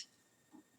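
The second wooden drumstick of a pair is tapped, giving a sharp, bright, high-pitched click with almost no low end and only a very brief ring. Its pitch is slightly different from the first stick, so the two sticks are not well matched.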